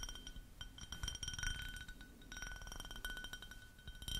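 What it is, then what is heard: Ribbed glass cup tapped with nails. An empty, clear ribbed glass drinking cup is held sideways close to a microphone and tapped rapidly with long nails. The taps make bright, short clinks with a high ringing tone near 3 kHz over a low rumble.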